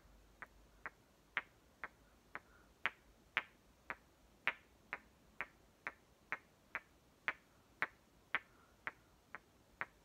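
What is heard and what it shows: Two hollow green plastic halves of one small toy watermelon, one held in each hand, are knocked and clicked together at the rims. There are 20 sharp, bright plastic clicks, each dying out almost at once, at an uneven pace of about two per second over ten seconds.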